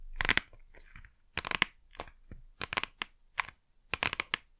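A small, flat, printed cardboard Blu Tack box, hollow and probably holding adhesive, is held upright in both hands and tapped and scratched with long manicured nails. The result is bursts of bright, dry, crinkly taps and scratches with very little ring, separated by short quiet gaps.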